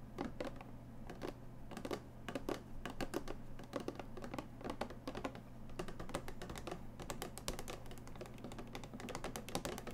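A small clear plastic display box holding a ceramic mug, with a cardboard label strip, is held in both hands while long painted nails tap and scratch its plastic sides. Quick, dense clicks and brief scratches sound continuously over a steady low hum.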